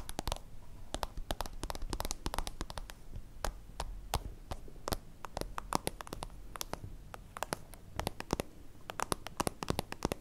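Long acrylic nails scratch and tap quickly on a small plastic pencil case, a translucent soft-plastic zip pouch with a holographic layer, held in the hand. The taps land as a dense, irregular run of sharp, dry clicks that reach high into the bright range. Soft crinkly scratching and a low rumble sit underneath, giving the pouch a hollow sound.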